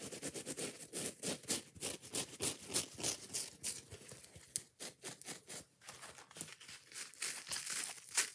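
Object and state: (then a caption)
Kitchen sponge with scouring pad. Long nails rapidly scratch and tap across a yellow foam dish sponge with a green scouring layer, moving between the soft foam and the rough pad. The result is a quick, uneven run of bright, crinkly scraping bursts and short dry taps with almost no low end and no ring.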